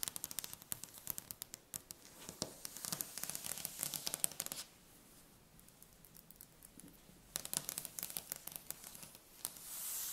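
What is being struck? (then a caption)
Wooden tabletop. Long red-painted nails tap and scratch rapidly across a large, solid, polished dark wooden tabletop, making dense, bright, dry clicks mixed with scratchy rustling. The busy tapping runs for about four and a half seconds, eases into a quieter stretch, then picks up in a second flurry. It ends with a soft, high hiss.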